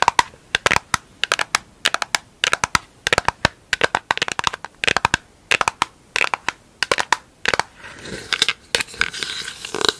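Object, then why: Round plastic lid. A round pink plastic lid held in both hands is tapped and scratched with long acrylic nails on its face and rim. Quick, sharp, bright clicks come in rapid clusters with short gaps, each dying away almost instantly. Near the end, a steady scratchy rasp takes over beneath scattered taps.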